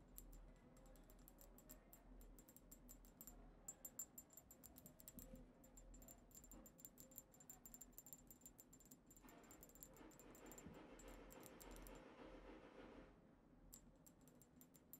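A tall cylindrical dark-tinted glass perfume bottle with a black cap, holding liquid, is rapidly tapped with the long acrylic nails of both hands. The result is a quick, irregular stream of bright, short clicks with a glassy high ring, plus a soft swell of low rubbing noise near the end.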